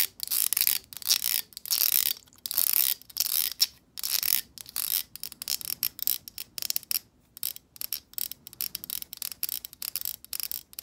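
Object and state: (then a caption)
Plastic hair brush. Long almond-shaped acrylic nails strum and tap along the stiff plastic bristles of a black long-handled plastic hair brush with a hollow vented head. The result is quick, crisp, bright ticking in short irregular bursts, almost entirely high-pitched with no low end.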